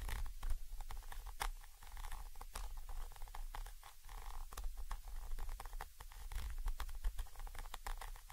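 A thin orange stick rapidly taps and scratches the side of a Zoom H5 XY microphone capsule, a small chrome metal body with mesh grilles. The result is a dense run of dry clicks and scraping rustles that die out almost at once, over a heavy, boomy low rumble.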